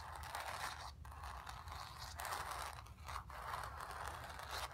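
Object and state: Painted canvas.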